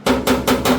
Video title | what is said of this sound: Transition pan installation on the Mustang | how hollow that sounds when you flick it. It's like nothing.